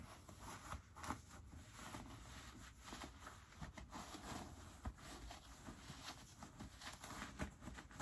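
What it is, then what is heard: Denim jeans pockets being rubbed. Fingertips tuck the pulled-out white pocket linings back into both pockets of light-wash ripped cotton denim jeans, rubbing the fabric. A quiet, continuous scratchy rustle and soft brushing of cloth goes on throughout, with a few brief, sharper scuffs standing out above it.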